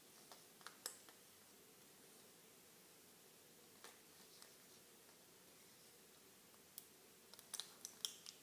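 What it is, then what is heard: Plastic and foil blister pack of pills. Fingertips press and click the clear plastic bubbles of a small, flat plastic-and-aluminum-foil blister pack of pink pills held in both hands. There are eleven quiet, sharp, bright clicks, spread irregularly with a long pause in the middle and a cluster near the end. Each click ends almost instantly over a faint steady background.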